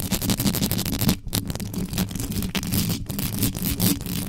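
Both hands quickly rake extra-long acrylic nails over the hollow metal mesh grille of an uncovered black condenser microphone. The result is a dense, continuous scratching with a heavy low rumble centered near 172 Hz and bright, gritty scrapes above it. The sound is broken only by brief dips just after one second and near three seconds.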